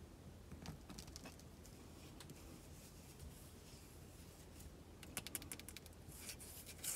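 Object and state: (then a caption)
Bar of soap, tapped and scratched. Long decorated acrylic nails tap and scratch the smooth surface and edges of an unwrapped, palm-sized solid white bar of soap with an embossed logo, held in both hands. Sharp, bright clicks and dry scratching sit over a steady low hum, with a denser burst of taps near the end.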